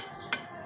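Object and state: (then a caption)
Solid thick-walled exhaust muffler. Two knocks on a new aftermarket metal racing exhaust muffler for a Ninja 250SL give short, solid, dense taps with only a brief ring. The muffler is thick-walled rather than thin or flimsy, which is a sign of good build quality.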